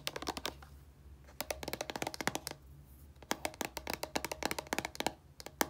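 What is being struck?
Small plastic shampoo bottle.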